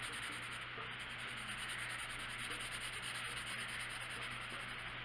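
A hand steadily colors a small area of an open paper coloring book page with a blue colored pencil, rubbing the lead across the paper; the book lies flat on a wooden table with a box of colored pencils resting beside and on it. The result is a continuous, even, scratchy rubbing with a bright hiss over a faint low hum.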